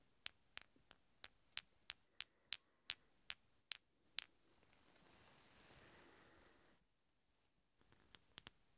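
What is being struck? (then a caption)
Two steel hex bolts. Two large solid steel hex bolts, held one in each hand, are tapped and clinked against each other in a steady run of twelve sharp, high, bright metallic clinks that die away almost instantly. A soft rustling hiss swells and fades, then after a brief silence a few quicker, lighter clinks follow.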